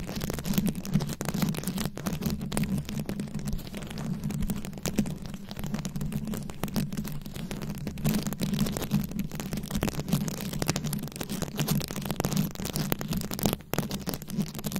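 Long acrylic nails scratch and tap across a fist-sized microphone head fully covered in small glued-on rhinestones or beads. The result is a dense, steady stream of crackly scratches and quick tiny clicks, close and boomy, with a heavy low hum around 150–200 Hz beneath the brighter grit.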